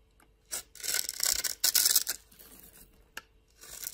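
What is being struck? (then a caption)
Soap bar. A flat metal blade scrapes the surface of a solid pink bar of soap held in hand, shaving it into powder and small cubes. Dry, bright, rasping scrapes come in uneven bursts, with quieter crumbly gaps and a short sharp scrape near the end.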